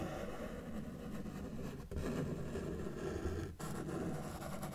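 A felt-tip marker held in the fingers is dragged across a flat white paper sheet resting on a solid table surface, drawing lines. A steady, low, soft scratching drag runs throughout, broken by two brief pauses between strokes.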